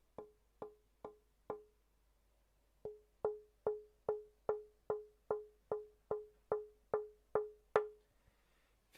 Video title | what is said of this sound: Tap tone básico: cómo implementarlo. Análisis de frecuencia en Audacity y Adobe audition | tengo un sonido bastante rico bastante pleno